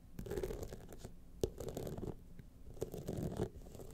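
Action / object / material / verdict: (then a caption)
scrape / rhinestone-studded clutch wallet / rhinestones / none. Long nails scratch along the sides and studded face of a gold rhinestone-studded clutch wallet. Irregular bursts of dense, rough scratching sit mostly in the low and middle range, with a few sharper clicks standing out.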